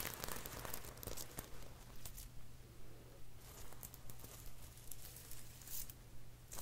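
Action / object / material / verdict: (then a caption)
scrape / plastic sequins sewn on fabric / plastic / none. Fingertips scratch and rub across a rose-gold sequined dress, made of small plastic sequins sewn onto fabric and held up in one hand. The sequins give quiet, bright clicking and crinkly rustling in repeated bursts over a steady low hum.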